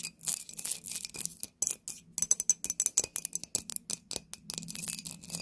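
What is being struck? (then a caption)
Glass bottle with cork stopper. An embossed clear glass corked bottle, tilted in the hands, is tapped with long nails on its sides and base. The result is a fast string of short, bright clicks and clinks with almost no ring and very little low end.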